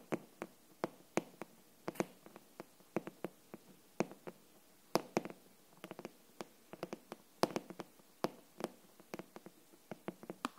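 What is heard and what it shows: A glossy green hardcover book with paper-covered boards is held upright while its front cover is tapped with long nails and fingertips. About 35 quiet, dry taps and clicks come at an uneven, unhurried pace. Each has a sharp bright edge and a brief hollow knock that dies away almost at once.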